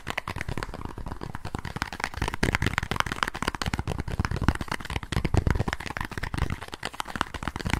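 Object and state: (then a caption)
Small cardboard box. A small green and white cardboard box, probably holding cards, is held in both hands while fingertips and nails tap and scratch its surface. The result is a fast, steady stream of short, dull taps mixed with soft scratching, with a mostly low, muffled tone and very little ring after each tap.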